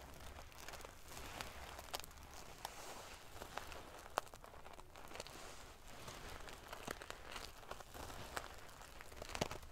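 Long painted nails and fingertips of both hands scratch and ruffle the rows of sequins on a soft-filled silver metal sequin pillow. The result is a steady, dense crinkly rustle with scattered sharp, bright ticks and clicks as the sequins flip and scrape.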